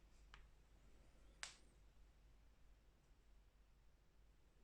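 Two knocks on the encapsulated stainless steel disc bottom of a Fissler pot, tested for comparison with a Silit pot: a faint tap followed by a louder, bright click with a brief ring near 2.3 kHz. The sound dies away quickly over a low background hum, consistent with a normal, solid disc bottom.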